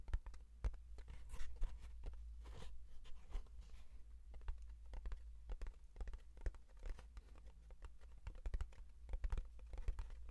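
Fingertips and nails tap and scratch the flat face of a small, closed, hollow brown kraft cardboard box held in one hand. The result is a quiet, dense, irregular run of short, dry clicks and scrapes that stop instantly, with soft crinkly scratching between them over a steady low hum.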